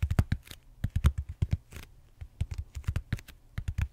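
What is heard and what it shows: Fingertips tap and scratch the bumpy surface of a large purple solid styrofoam foam roller held horizontally. The result is a quick run of soft, dull, low-pitched thumps with short bright scratchy edges, each dying away almost instantly.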